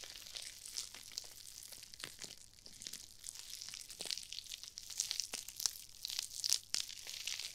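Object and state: Nylon mesh scrub sponge.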